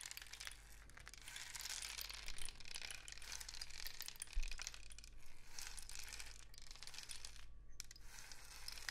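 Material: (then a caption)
Cardboard. A long hollow rain stick, apparently a cardboard tube painted with suns and dots, is held diagonally in both hands and tilted so the loose filling inside trickles through. The result is a steady, dense patter of bright crackling grains over a constant low hum, with a brief thinning of the flow near the end before the trickle resumes.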